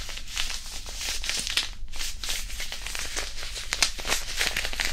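A small white printed disposable hand warmer, a non-woven fabric pouch filled with iron powder, is held in both hands and crinkled and squeezed close to the mic. The result is a steady, dense, bright crinkling and rustling with sharp crackles scattered throughout, over a faint low rumble.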